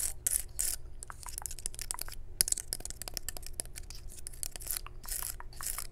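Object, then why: Pine cone scales. Long nails scratch and tap the scales of a dry, natural pine cone held in the hand. A dense run of crisp, dry clicks mixes with brighter scratchy bursts, all close and quiet over a low steady rumble.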